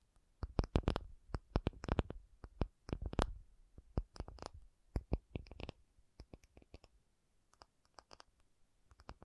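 An acrylic object is tapped in a rapid, irregular run of short taps, each a dry click with a low thud underneath and a faint bright tick on top. The taps come densely in the first half, then thin out into sparser, quieter taps, dying away almost instantly with no ring.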